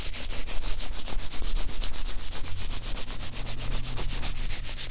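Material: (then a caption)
Nitrile rubber. Hands in thin blue nitrile gloves, slick with oil, rub and slide against each other over a white table. A quick, steady run of wet, squishy swishes comes about four times a second, each a bright hiss over a low, steady hum.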